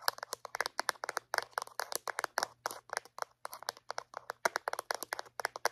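Long painted acrylic nails tap and click on a small, white, hollow plastic Reach dental floss dispenser held in one hand. About 35 quick, sharp, dry clicks land in an uneven rhythm, with a hollow midrange tone and bright edges. Each click dies almost instantly over a faint, steady low hum.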